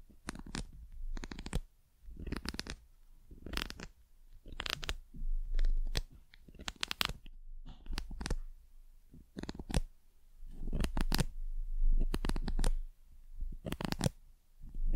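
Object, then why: Small carved wooden bird figure. A small, solid, painted carved wooden bird pencil topper is scratched and tapped on its textured surface with long nails. Bursts of dry scratching and crisp tapping come in uneven clusters over a deep low rumble, with short bright clicks that die away quickly.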